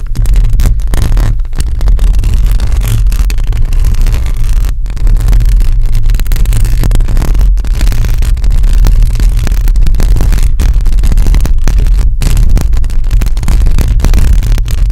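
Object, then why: Metal mesh microphone grille scratched by long nails. Long acrylic nails scratch continuously across a hollow metal mesh microphone grille. The result is a dense, steady, loud scraping rumble concentrated in the deep lows, with brief near-silent breaks around 4.8, 7.5 and 12 seconds.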